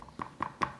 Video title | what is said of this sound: Amazing white bread (no mixer) | if you knock on it it should sound sort of hollow